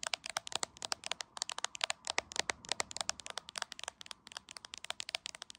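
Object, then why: Smartphone in a clear plastic case. Long acrylic nails tap rapidly on the top edge of a hand-sized, solid iPhone in a clear plastic case, held in one hand and seen in a mirror. About forty sharp, bright clicks come in a quick, steady patter, each dry and gone almost instantly with no low-end weight.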